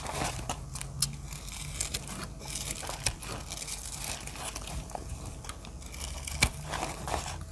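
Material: Soap.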